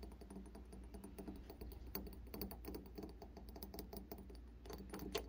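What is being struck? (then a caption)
Brass door knob. Fingertips and nails tap and scratch the rounded face and sides of a polished, brass-coloured, round metal door knob that seems hollow and is fixed to a door. Quick, light clicking taps mix with dry scratching, each tap dying away almost at once over a steady low hum.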